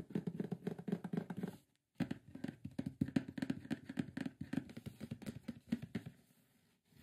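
Fingertips tap and scratch quickly across the lid and edges of a large, closed, hollow, printed white cardboard microphone box. The result is a dense run of short, dull, hollow taps with papery scratching, broken by a brief pause near the two-second mark. The sound fades to quiet just before the end.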